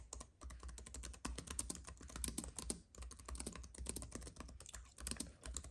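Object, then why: Keyboard with plastic keys on an aluminium base. Fingertips of both hands type rapidly on a compact white keyboard with plastic keys on a thin aluminium base, resting on a fuzzy mat. A dense, continuous stream of short, crisp key clicks with a soft low thud beneath and bright tops, each tap dying away almost instantly, with brief pauses between bursts.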